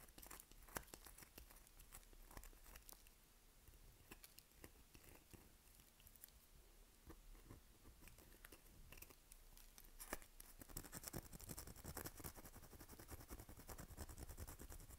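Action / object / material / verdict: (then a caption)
scrape / bar of soap / soap / none. A dry, dusty, unwrapped palm-sized lilac bar soap is held in one hand while long nails scratch across its surface, flaking soap off. Close, quiet scratching and crumbly crackles come in an irregular run of small clicks and crunches, growing denser and brighter toward the end.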